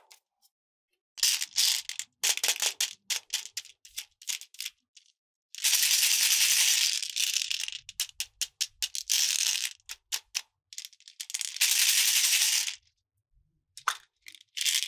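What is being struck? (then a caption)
Small plastic container holding beads. A small, hollow, clear plastic heart-shaped capsule partly filled with small yellow beads is held in both hands and shaken, so the beads rattle inside. Bursts of short, quick shakes alternate with two longer continuous rattles, giving a bright, hissy clatter with almost no low end. The capsule is opened at the end, followed by a few faint ticks.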